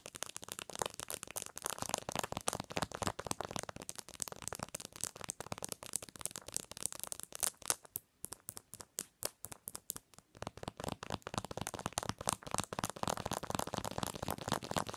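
Long nails tap rapidly on the back of a phone in a white-and-pink plastic case with a metal ring holder, lying on a pillow. The dense, irregular, bright clicks and rattles thin out briefly around the middle, then pick up again at full speed.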